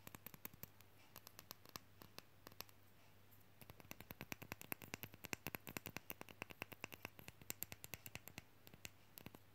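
Long fingernails rapidly tap and scratch the painted front and flat wooden back of a small, solid, painted wooden nesting-doll-shaped magnet with a small metal magnet disc. Dozens of short, dry, bright clicks come in quick, uneven bursts with almost no ring, over a faint steady low hum.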